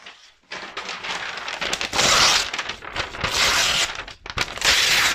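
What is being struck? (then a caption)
Thin brown kraft wrapping paper sheet. A thin sheet of brown kraft wrapping paper is held up close to the microphone as fingertips and long nails crumple, crinkle and fold it. Dense, bright crackling rises in waves after a brief quiet start, with three louder bursts of scrunching separated by short softer pauses.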